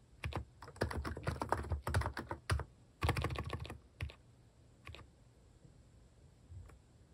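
A hand types with its fingertips on a compact plastic mechanical keyboard fitted with plastic cat-face keycaps, pressing the keys repeatedly. Quick runs of soft, deep, muted clacks come in bursts, separated by short pauses. The typing thins out into a few isolated taps near the end.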